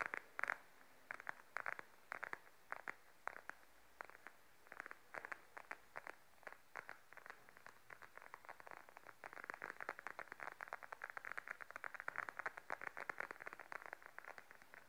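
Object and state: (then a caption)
Patent faux leather wallet. Long nails scratch and tap the glossy surface of a beige patent faux leather wallet lying flat. A steady run of dry, quick clicks and short scrapes sits mostly in the mid range, with sparser, louder taps early on and denser ticking later. Each contact dies away at once, leaving no ring.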